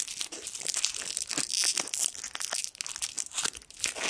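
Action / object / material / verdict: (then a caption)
scrape / metal foil sweet wrapper / metal foil / none. A small gold foil sweet wrapper is crinkled and twisted with the fingertips. It gives a dense, continuous stream of bright, sharp crackles and tearing-like crinkles with almost no low end. The crackles come fast and overlapping for about four seconds.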